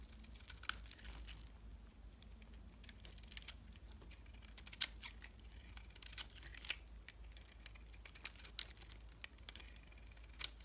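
A solid, swirl-coated bar of soap is held in hand while its white interior is scraped with a metal box-cutter blade. Quiet, dry scratching and crumbly crinkling run throughout, broken by sharp, bright clicks and ticks, over a steady low hum.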